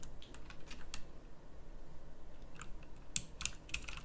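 Fingertips with long nails type on a pink backlit mechanical keyboard with round plastic keycaps, producing a quick series of short, bright clicks over a low background rumble. The last few keystrokes land as sharper, louder clicks.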